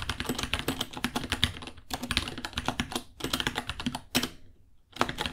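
Fingertips type fast on a white 66-key mechanical keyboard, about 30 cm long, with plastic keycaps, Gateron Brown switches and a hollow case. Rapid, bright clacking keystrokes with a low thocky body come in quick bursts separated by short pauses.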